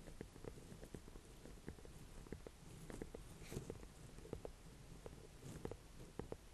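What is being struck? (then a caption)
Small ornamental pumpkin with firm rind. A small ribbed orange-and-cream ornamental pumpkin with a firm rind is held in both hands and tapped with fingertips and long painted nails. About a dozen soft, dull taps and light nail clicks come in an irregular patter, each dying away at once over a low, quiet rumble.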